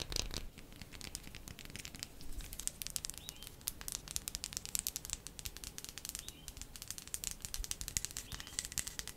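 A bar of soap is tapped quickly with the nails, producing a rapid, dense stream of short, bright clicks that stop almost instantly with no ring. The tapping stays fast but gentle and steady throughout, over a low, soft background rumble.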